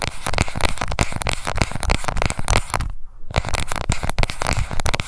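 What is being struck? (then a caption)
Small plastic cushion compact. Long nails tap and scratch the base and edge of a small pink plastic cushion foundation compact. The result is a dense run of rapid, dry crackling taps and scrapes, heavy in the low end and with almost no ring. It pauses briefly near the middle, then resumes just as busily.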